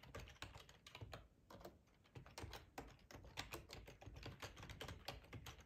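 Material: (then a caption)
Plastic. Fingertips of both hands type on a black plastic ergonomic split computer keyboard with a hollow housing, lying on a tablecloth. A steady stream of quick, clacky key taps is heard, each with a hollow low thud and a bright click that dies away almost at once. The typing eases briefly in the middle before picking back up.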